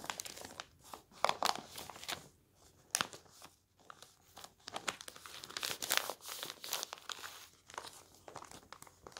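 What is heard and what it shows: Palms sweep and rub across newspaper pages lying on a table while fingers fold the sheets. Dry, bright crinkling and rustling comes in bursts with short quiet gaps, with sharp crisp peaks and almost no low end.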